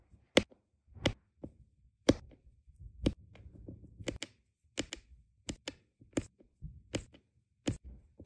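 A plastic drill pen with a metal tip presses small solid round resin diamond painting drills down in a row onto a flat printed adhesive canvas, tapping them repeatedly. Thirteen sharp, bright little clicks come at an irregular, unhurried pace, each dying away almost instantly, with faint low rustling in between.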